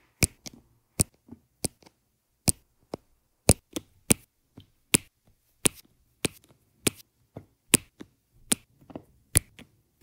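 A metal-tipped drill pen taps and presses small round resin rhinestone drills, laid in green and black rows, into place on an adhesive canvas. The clip has 17 short, sharp, bright clicks that stop almost instantly, each followed by a faint low rustle, at a steady, unhurried pace.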